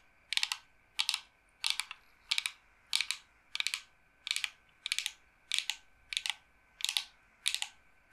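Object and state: Smooth wooden board.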